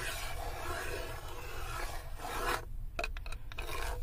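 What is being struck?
Wooden serving tray.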